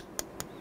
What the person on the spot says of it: bukan suara plastik kan? Tapi seperti suara besi gitu loh